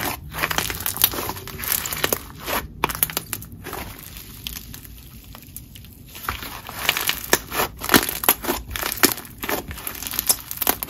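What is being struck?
Crunchy textured slime.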